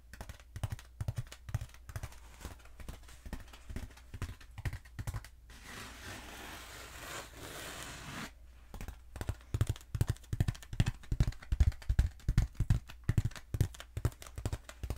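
Long nails tap rapidly on a long, black, hollow foam pool noodle held diagonally, giving quick, soft, low thuds with short sharp clicks. Midway the tapping pauses for a few seconds of steady, hissing scratching across the foam. Then faster, louder tapping resumes until the end.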